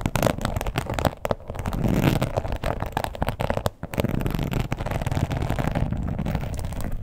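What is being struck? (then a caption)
Embossed leather wallet. Long pointed acrylic nails scratch fast across a red croc-embossed leather wallet lying flat. The result is a dense, crackly rasp of rapid short strokes, heavy in low rumble, with brief lulls near the 1.3 and 3.8 second marks.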